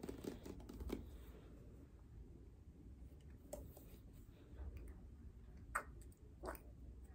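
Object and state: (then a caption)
Plastic pump bottle. Long painted nails tap and scratch a clear plastic bottle with an orange pump top, partly filled with liquid. Quiet, sharp clicks and dry scratching bursts come in a quick cluster at the start, then more sparsely, over a low, rumbling background.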